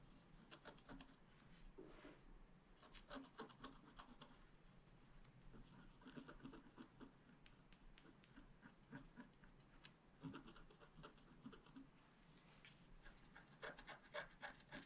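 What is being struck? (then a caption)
Black-coated scratch-art card scraped with a wooden stylus. A wooden stylus scratches the coating of a flat, black-coated scratch-art card held down by the left hand. Quiet, irregular bursts of dry, raspy scratching strokes come in quick runs with short pauses, each stroke a bright, papery scrape that stops with no ring.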